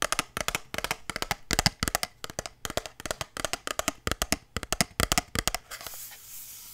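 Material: Cardboard.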